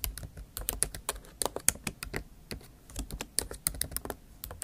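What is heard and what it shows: Fast typing with long acrylic nail tips on the plastic keys of a MacBook Pro keyboard set in an aluminium body. The result is a rapid run of short, bright clicks and taps that stop almost instantly, coming in quick bursts with brief pauses between them.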